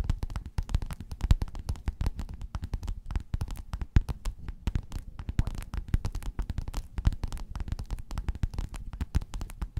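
Long nails scratch and tap rapidly on a flat, padded, gold metallic quilted faux-leather cover. The result is a dense, continuous run of soft, dull, low thuds and scrapes with almost no ring.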